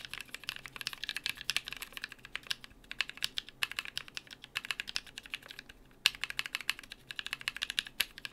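Two hands type steadily with their fingertips on a compact BM43A mechanical keyboard with lubed NK Cream linear switches, PBT plastic keycaps and an aluminium plate. The result is a fast stream of short, bright, clacky keystrokes with almost no low end, with a brief pause just before six seconds and a few sharper, louder strikes.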